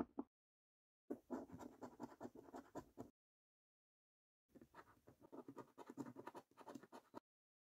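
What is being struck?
Paper scratch card with latex coating.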